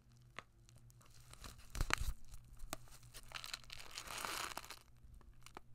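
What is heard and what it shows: Fingertips with long nails crinkle and rub a small, flat kraft paper food pouch with a printed label, held in both hands. Dry, papery crackles and sharp ticks build into louder, tearing-like rustles near the two-second mark. A broad, bright crinkle swells again later, all over a faint steady low hum.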